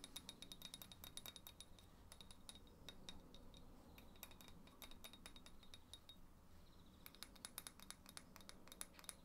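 A small, hollow terracotta flower pot filled with soil is held in the hands and tapped with fingernails, producing quick, bright clinks with a short, high ring. The taps come in dense bursts over a soft low rumble, thin out around the middle, and pick up again near the end.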